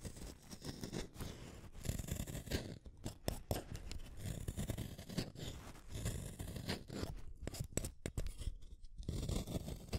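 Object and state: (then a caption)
Wooden colored pencil being sharpened. A red wooden colored pencil is turned by long-nailed fingers in a yellow plastic hand sharpener, its metal blade shaving the small solid stick one at a time. A continuous, close, gritty scraping cut is heard, low and rough with brief crackly bursts, as the shavings curl off.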